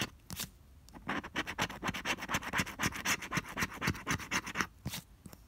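A pink plastic scraper is rubbed across the coating of a flat cardstock paper scratch-off lottery ticket, no. 047, held by fingertips. It makes a fast series of dry, bright scratching strokes, about four per second, with a few separate strokes at the start and end.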